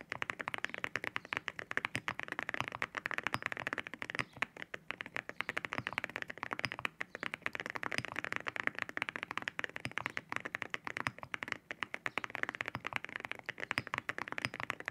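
Fingertips type rapidly on a white 65% mechanical keyboard with ceramic keycaps resting on a desk. A dense, steady stream of short, crisp clacking taps rings out, bright with a strong focus around 1.9 kHz and very little low end. Each press dies away almost instantly.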